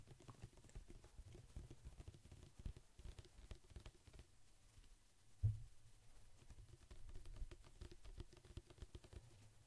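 A large white-and-blue plastic pump bottle of pet shampoo, hollow and likely partly full, is held beside the microphone and tapped with fingertips and nails. The result is a steady stream of quiet, soft, low, hollow thuds around 110 Hz with very short decay and faint clicky edges. One louder tap lands just past the midpoint.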